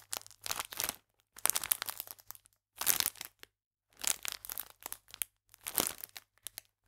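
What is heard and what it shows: A full pack of biscuits in clear plastic film is held flat and pressed and crinkled with fingertips and nails. Quiet, bright crinkling and crackling comes in several separate bursts with short silent gaps between them, ending in a few faint ticks. There is almost no low end.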